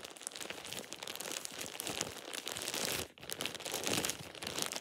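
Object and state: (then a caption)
Plastic shower cap being crumpled. A thin plastic shower cap is balled up and crumpled in both hands with fingertips and nails. It makes a dense, bright, continuous crinkling with sharp, crackly snaps. The crinkling drops out for a brief moment around the three-second mark before resuming just as busily.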